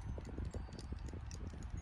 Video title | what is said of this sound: Fav Finds! | do you hear that it makes the little tinkling